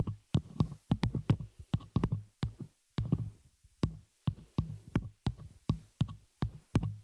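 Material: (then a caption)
Metal. Long nails on both hands tap and scratch the hollow, open metal frame of a small spider-cage shock mount holding a microphone. A quick, irregular run of soft, thumpy taps follows, heavy in the low end with bright clicky edges. Each tap dies away almost instantly, with brief scratchy rustles between.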